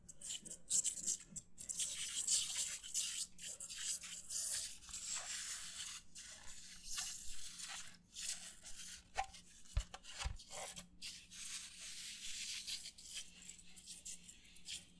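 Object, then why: Thin disposable paper plate. Fingertips and nails scratch and rub the surface of a thin, empty, white disposable paper plate held up close to the mic. The result is a quiet, bright, papery rasping, broken into short strokes with brief gaps, over a faint low hum.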